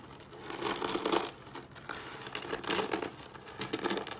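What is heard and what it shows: Fingertips press, crush and scrunch a pile of thin, dry, brittle curled soap shavings in pink, green, white and yellow resting on a wooden table. Dense, crisp crackling and crunching rises in three louder swells, with a bright, papery texture. Quieter crinkling fills the gaps between them.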